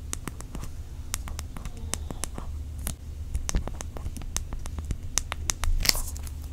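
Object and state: Aluminium tablet in plastic wrap.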